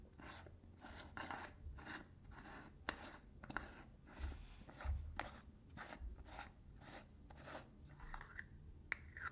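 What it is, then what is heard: Metal tin lid scratched. Fingertips and nails scratch the ridged edge of the blue metal lid on a small got2b hair wax tin held upright in one hand. The result is a steady run of quiet, rasping scratch strokes, each a brief bright burst, with a few sharp clicks over a low rumble.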